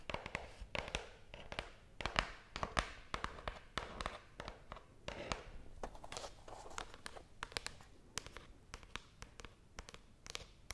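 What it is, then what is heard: Cardboard box. Long blue-painted nails tap quickly and irregularly on a small, closed, brown cardboard box that is hollow and apparently empty, held close to the microphone. The taps are short, dry clicks with a hollow, papery body and bright tips, stopping almost instantly with no ring. They come in uneven bursts throughout.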